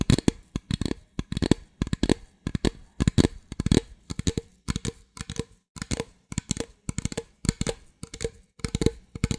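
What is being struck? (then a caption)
Thin plastic drink bottle. Long nails tap and scratch the sides of an empty, hollow clear plastic drink bottle held in both hands. Quick clusters of short, dry clicks and crinkly scrapes repeat steadily, with a hollow low-mid thump and brief bright scratchy edges. Each burst dies away almost instantly.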